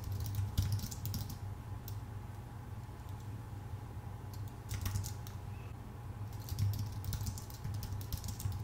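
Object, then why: Computer keyboard with plastic keycaps on an aluminum body. Both hands type with their fingertips on a full-size white Apple Magic Keyboard with plastic keycaps on a thin aluminum body. Bursts of quick, light key clicks come at the start, in the middle and toward the end, with quieter stretches between them. A steady low hum around 100 Hz runs underneath throughout.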